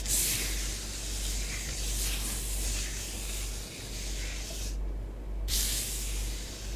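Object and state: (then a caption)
Nails tracing through bath bomb powder. Long nails rub and trace circles through orange bath bomb powder spread on a tabletop. The result is a continuous, bright, hissy scratching over a steady low rumble, with a short break in the high scratching near the end before it resumes.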